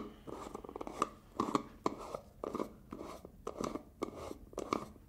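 Fingers and nails scratch, tap and twist the black plastic lid of a medium-size black plastic hair gel jar. Short bursts of dry, papery scratching sit in the midrange, broken by sharp, clicky taps that stop almost at once. There is little deep bass and only faint high hiss.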